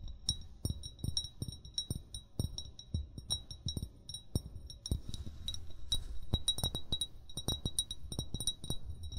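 An upright, hollow amber glass bottle, its fill level not visible, is tapped with short fingernails and fingertips in a quick, irregular rhythm. Each tap gives a dull low thud with a bright, glassy clink that dies away almost at once.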